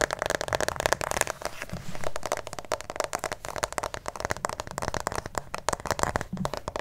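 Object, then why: Plastic acupuncture model figure. A white plastic acupuncture model doll, likely hollow and held close to the microphone, is tapped and scratched on its head and torso with fingertips and nails. A steady stream of quick, dry clicks and crackly scratches keeps up throughout, with a hollow plastic tone around 600 Hz. Each tap stops almost instantly with no ring.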